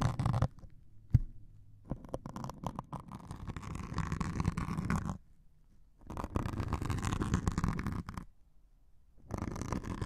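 A metal needle scratches and pokes the grey abrasive top of a hand-sized white melamine foam sponge held over the microphones. Close, low, rumbly scratching comes in bursts separated by near-silent pauses, with one sharp poke standing out early on.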